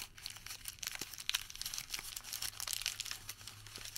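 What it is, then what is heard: Thermal paper receipt. Fingers unfold a crumpled Home Depot thermal paper receipt and stretch it flat. The result is a quiet run of bright, crisp crinkles and crackles in quick, irregular bursts, over a faint steady low hum.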